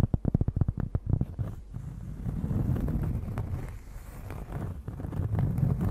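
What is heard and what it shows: A large, thin, solid round cork disc, held in both hands close to the microphone, is tapped and scratched with long nails. A quick run of soft, dull, low taps opens the clip, then gives way to a steady, muffled scratching rustle that lingers low and barely rings.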